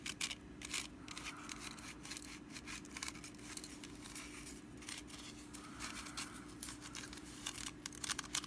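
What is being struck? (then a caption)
Woven wicker basket. Long nails scratch and tap the woven sides and rim of a small, open, hollow and empty orange woven wicker pumpkin basket. Dry, bright crackling scrapes mix with quick, short-ringing ticks over a faint steady low hum.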